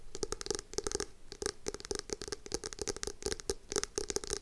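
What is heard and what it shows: Long acrylic nails tap and scratch the cover of a navy hardcover notebook with foil lettering, held upright in both hands. The result is a rapid, uneven run of short, bright clicks with dry scratchy texture over a faint steady low hum, and each tap dies away almost at once.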